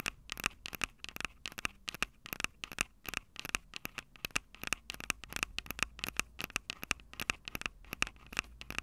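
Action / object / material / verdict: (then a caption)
tap / metal microphone grilles on a small plastic handheld recorder / metal mesh / none. Long acrylic nails tap and scratch the metal-grilled microphone capsules of a small, hollow Tascam DR-05 handheld recorder with a plastic body. About forty quick, dry, bright clicks and scrapes land at an uneven pace, each cutting off with no ring and carrying a sharp tone around 2.6 kHz.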